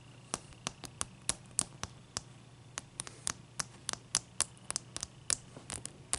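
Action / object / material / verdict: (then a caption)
tap / solid clear ice cube / ice / none. Long nails tap and scratch around the faces of a single solid clear ice block resting on a towel. About 22 sharp, bright clicks come at an uneven pace, each dying away almost instantly, over a faint steady low hum and hiss.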